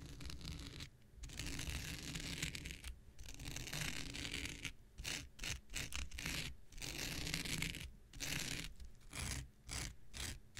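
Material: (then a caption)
Synthetic fiber. An X-Acto knife blade scratches across the surface of a thin, blue, hand-sized non-woven synthetic fiber scouring pad held in the hand. Dry, bright rasping strokes come in bursts separated by short silences, over a steady low rumble.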